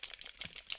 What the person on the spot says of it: the first thing you have to do when you get an acrylic marker is already shake it and then you hear the ball which allows the paint to mix well inside your marker